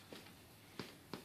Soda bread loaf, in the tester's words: if it's done, make a sort of hollow sound when you tap the bottom